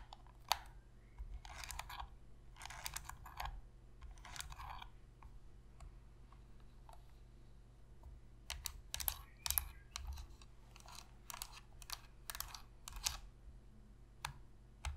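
Long nails tap the front and shoulder buttons of a black, hollow plastic Sony PS3 controller held on edge. Quiet, dry, bright clicks come in quick bursts, with short pauses between them over a steady low hum. Each tap dies away almost instantly.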